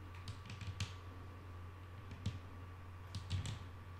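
Long nail tips tap on a solid, flat wooden tabletop, making soft, short, dry clicks with bright edges that die away almost at once. The taps come in small irregular clusters over a steady low hum.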